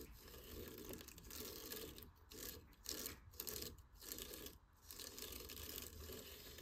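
Fingers and nails scratch up and down a cat tree post tightly wrapped in coarse sisal rope. The result is a dry, rough, broadband scraping with a bright, hissy top, coming in repeated strokes separated by brief dips.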